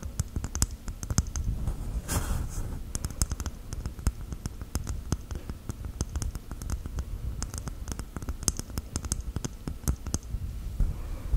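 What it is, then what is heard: Coconut shell. A coconut shell is tapped with gel nails, giving a continuous run of quick, dry clicks and taps with a low, hollow thump underneath. Each tap dies away almost at once, and a brief scratchy rustle sounds near the two-second mark.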